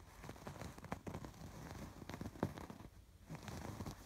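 Fingertips and nails scratch over the raised, colored embroidery of a soft stuffed fabric pillow. Quiet, dry, crackly scratches and rustles come in uneven bursts, each dying away almost at once. The sound is dull and weighted toward the low end, with little high brightness.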